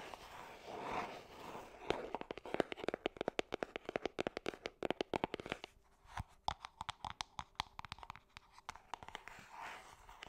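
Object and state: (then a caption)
Cardboard perfume box tapped and scratched with nails. Long painted nails tap and scratch a small, hollow gold cardboard perfume box. Soft scratching opens and closes the clip, with dozens of quick, dry, hollow taps in between. A faint steady tone sits under the middle section.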